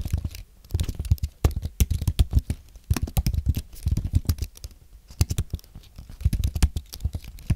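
Fingertips type on a thin, solid white Apple Magic Keyboard with an aluminum base and white plastic keys, while nearby microphones sit untouched. The clip is a quick, uneven patter of short, dull low taps and clicks, with brief pauses between bursts of keystrokes.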